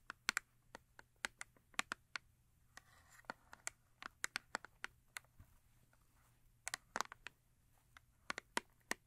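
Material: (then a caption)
Cardboard. Long acrylic nails tap and scratch the face of a small Yardley cardboard soap box that is full with a bar of soap. About 27 quiet, sharp, dry clicks with bright, papery tone and almost no low end fall in irregular clusters, with a brief soft scratching passage near the three-second mark. Each tap dies away instantly.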